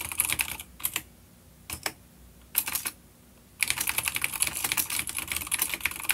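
A full-size dark grey plastic vintage mechanical keyboard with grey and dark keycaps, an older B-grade unit with clicky blue switches, rests on a wooden desk while both hands type rapid key taps with the fingertips. Bright, sharp clicks come in quick bursts, separated by two short pauses with only a few scattered keystrokes. The typing then resumes as a dense, steady run to the end.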